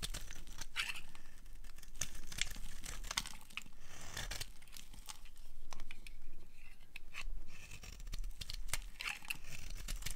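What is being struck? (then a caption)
Bar of soap shaved with a blade. A utility knife blade shaves the edge of a solid, dry orange-red bar of soap held in the hand. Crisp, crackling scrapes and dense short clicks run steadily throughout, with bright, papery tearing textures over a faint low rumble.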